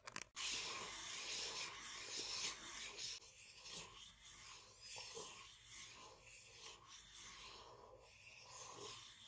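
Long painted nails scratch and tap the sides and base of a small, hollow, empty white printed paper cup held upside down in the hands. A dense, bright rasping scrape fills the first few seconds, then settles into softer, loosely rhythmic scratching strokes with almost no low end.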